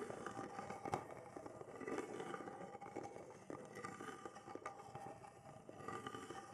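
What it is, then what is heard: Carved wooden box. Fingernails scratch and tap the carved relief pattern of a small, hollow-seeming hand-held wooden box as it is turned in the hands. The result is a quiet, dry, continuous scratching in the midrange, broken by light, short taps that fade almost at once.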